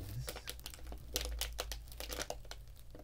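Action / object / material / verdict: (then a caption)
scrape / plastic foil snack packet / plastic foil / none. A small, green, printed plastic foil snack packet, sealed and full, is held by its edges in both hands while the fingers squeeze and crinkle it. This produces a quick run of sharp, bright crackles and rustles over a steady low hum.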